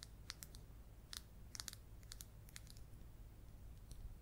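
Long yellow acrylic nails scratch and tap the textured peel of a small whole mandarin or clementine. The result is a quiet, irregular series of short, bright clicks and crisp scratches that stop almost instantly, over a steady low hum.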